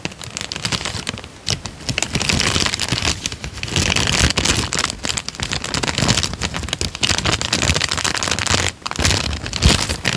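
A thin tan paper sheet is held up and then folded and crinkled with the fingertips, giving a steady run of dense, bright crackles and rustles. The crinkling stays fairly even across the clip, with a brief drop in loudness near the end before it picks up again.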